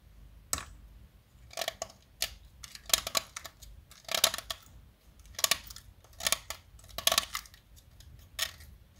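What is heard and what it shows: A small, solid light-blue blackboard chalk stick, held in hands with long nails, is shaved and carved with a metal utility-knife blade. It gives a series of short, bright, dry scraping strokes with brief gaps between them, over a quiet background. Each scrape stops abruptly with almost no ring.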